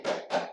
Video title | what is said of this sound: Looking for an Affordable Tele? Don't Forget the Schecter PT! | if you can hear that it's hollow inside